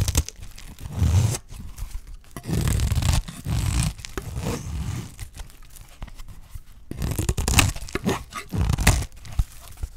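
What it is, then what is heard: Dry soap bar. A solid, dry green soap bar is held in the hand while its surface is scraped with a utility knife blade. Uneven bursts of rough, crunchy tearing and scraping come through, with a heavy low body and bright, crackly edges on some strokes. Short pauses separate the passes.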